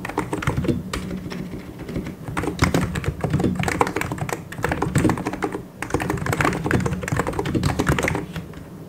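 Fingertips type in continuous taps on a full-size white and grey mechanical keyboard with plastic keycaps. The result is a steady stream of short, dry clacks with a low thump under each press, in bursts that rise and ease off without pause.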